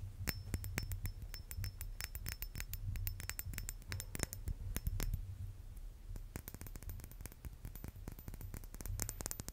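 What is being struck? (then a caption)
Silver-plated metal brass-instrument mouthpiece. A small, hollow, chrome-silver, silver-plated metal brass-instrument mouthpiece is held in the hand and tapped and scratched with fingernails. The result is a rapid series of sharp, dry clicks that reach up into the highs and die away almost instantly, with faint scratching between them. A steady low hum sits underneath throughout.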